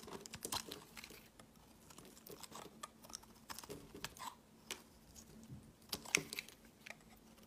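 A steel utility blade shaves the edge of a hand-held, solid white translucent rectangular soap bar. It makes a quiet series of dry, crisp scraping and crackling strokes that are mostly high and bright. Sharp crinkly ticks stand out, with the loudest cuts near the end.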